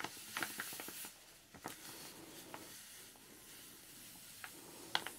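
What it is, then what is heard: Plastic zip-lock bag of powder. A small clear plastic zip-lock bag half full of pink powder is squeezed, tilted and gently shaken with fingertips and long dark nails. A quiet, bright hiss runs throughout, broken by several sharp crinkles and light clicks from the plastic and nails.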